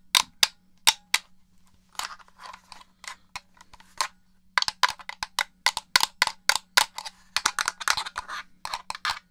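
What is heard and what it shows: Fingernails tap the shell and press the buttons of a hollow black plastic Xbox controller. The result is a quick, irregular run of sharp, bright clicks and taps with almost no ring, over a faint steady low hum.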